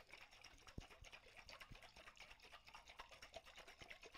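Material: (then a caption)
Glass. A medium clear glass mason jar, hollow and partly filled with water, is held in both hands with long white-tipped nails and shaken and tilted so the water sloshes inside. The result is soft, irregular sloshing and splashing with quick, bright, clicky transients and a few low thumps, all at a quiet level.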